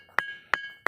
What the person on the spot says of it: घंटी जैसी आवाज आ रही है